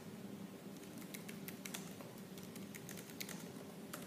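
Fingertips with purple-painted nails type quickly and forcefully on the black plastic keys of a silver laptop. Crisp, bright key clicks patter in a rapid, uneven stream over a steady low hum, staying quiet overall.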